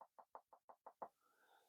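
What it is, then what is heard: Dove breast bone tapped with a knife. A knife blade taps seven times on the breast bone of a dove while it is being cleaned, to locate the bone before cutting slits on either side. Each tap is a quiet, short, dull knock centred in the midrange. After the last tap comes a faint low background.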